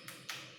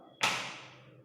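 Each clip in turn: First: hollow model thigh bone. Second: solid model foot bone.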